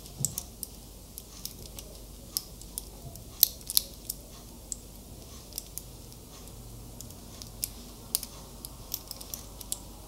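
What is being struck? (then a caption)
Metal wristwatch with link bracelet. Fingertips and nails click and tap on the clasp and links of a small metal wristwatch with a link bracelet held in both hands. Around 25 sharp, bright clicks come at an uneven pace over a quiet low background hiss, each dying away almost instantly.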